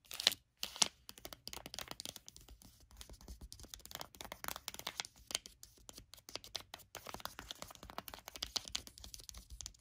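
A flat, sealed foil sheet-mask sachet resting on a blanket is scratched and tapped by long acrylic nails. The result is a fast, irregular stream of crisp, bright crinkling taps and scratches with very little low end.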